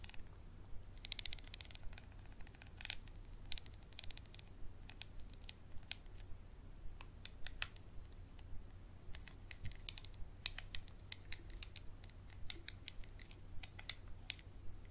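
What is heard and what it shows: A small textured glass bottle with a black cap is scratched and tapped with a capped Sharpie marker. The quiet clip is full of crisp, bright clicks and scratchy strokes in an uneven rhythm, each dying away almost instantly, over a steady low hum.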